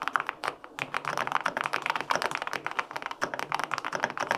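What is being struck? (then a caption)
Mechanical keyboard, aluminum case with plastic keycaps. Fingertips type quickly on the plastic keycaps of a white-pink, full-aluminum 65% mechanical keyboard with linear switches. The result is a steady, dense stream of short, crisp clacks centered in the midrange, with almost no low end and no ring after each keystroke.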